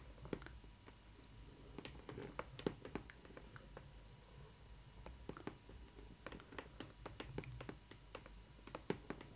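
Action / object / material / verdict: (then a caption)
tap / printed cardboard box panel / cardboard / none. Long nails tap and scratch on the printed side panel of a hollow cardboard Disney Ily 4ever Stitch doll box, with the fingertips held flat on the panel. Quick, dry taps with almost no ring come in scattered bursts over a soft, low rumble. Faint scratchy brushing sounds fill the gaps between them.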